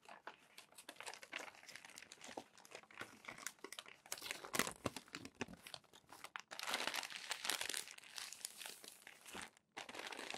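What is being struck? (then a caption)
Glossy paper magazine. Fingertips turn the crinkled pages of a crumpled glossy paper magazine and smooth them flat. The result is a dense, bright stream of crackling and crinkling with quick rustling bursts. The sound grows busier and louder in the later half before a brief pause near the end.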